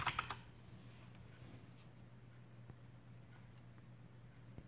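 Fingertips type on a Coolermaster Masterkeys PRO M mechanical keyboard with black plastic keycaps and tactile Cherry MX brown switches. Three quick, clicky keystrokes open the clip, followed by a steady low hum and a few faint, scattered ticks.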